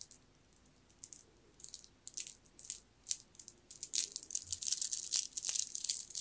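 A green jade bead necklace is dangled and gathered in the fingers, its stone beads clicking and rattling against each other. Sparse, bright clicks come in short irregular bursts at first, then thicken into a denser, louder rattle toward the end. The sound is almost entirely high and crisp, with very little low end.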